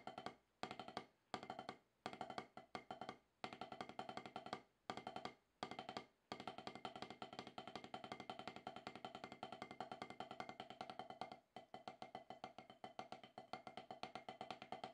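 Two wooden drumsticks tap on a solid octagonal HQ practice pad with a dark rubber surface. Short bursts of dry, quick-decaying taps with a woody midrange knock around 750 Hz are separated by brief pauses. The taps then run into a long, fast continuous stream with one short break near the end.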